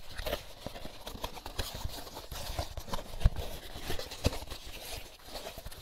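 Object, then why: Empty molded paper pulp egg carton. Fingertips tap and scratch the cups of an empty molded paper pulp egg carton held upside down. Soft, irregular hollow taps mix with dry, papery scratching, with two sharper, louder taps standing out near the middle.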